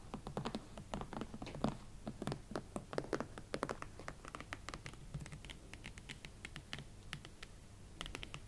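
A pair of hot pink Valentino Club Platform leather boots stands upright while both hands tap and scratch the leather shafts and sides with long nails. Quick, dry, crisp taps with brief scratchy strokes come in a steady, uneven patter, each one dying away almost at once over a faint low background hum.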